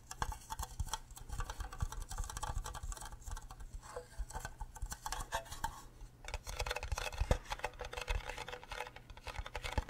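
A fingernail taps quickly and repeatedly on the rim and sides of an empty, green, cube-shaped hollow plastic Minecraft creeper mug. Each light, dry click carries a dull low thump and dies away almost at once. The taps run in a dense, uneven patter throughout, with a few sharper, louder clicks near the end.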